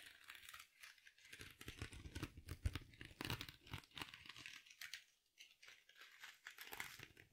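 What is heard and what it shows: A small silver glitter mesh-covered foam sponge is held in one or both hands close to the mic and squeezed and crinkled with fingers and long nails. The result is a quiet, dense stream of crisp, bright crackling and rustling over soft low thumps. It comes in uneven bursts, with a brief near-silent pause around the five-second mark.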